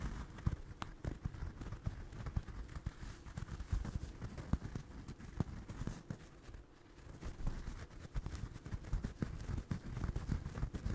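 A small, soft, stuffed orange crocheted doll is held close to a microphone while fingertips and nails scratch and tap its yarn surface. The result is a dense, muffled, low-heavy rustle of scratching broken by many short, soft taps, briefly quieting partway through before picking up again.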